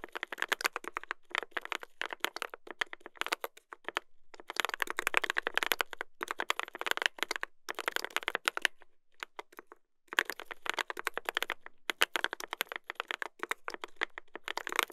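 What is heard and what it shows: Two hands type with their fingertips on a mechanical keyboard with a brass plate and plastic keycaps. They produce rapid, sharp, bright clacks with almost no low end, in bursts broken by brief pauses. Each keystroke dies away almost instantly.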